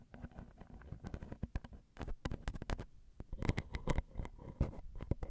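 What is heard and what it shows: Long glitter acrylic nails gently tap on the metal X/Y microphone capsule bodies of a Zoom recorder, producing a rapid, irregular stream of soft, close, bass-heavy thumps and clicks. Each tap dies away almost instantly, with a few brighter clicks standing out near the end.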